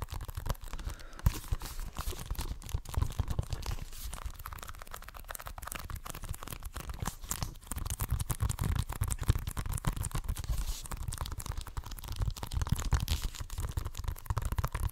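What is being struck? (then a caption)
Plastic video game case. A hollow plastic Xbox One game case is scratched and tapped with fingernails while held up close to the microphone. The result is a dense stream of crackly scratching and quick taps with a heavy low-end thump. It grows louder and busier after the midpoint.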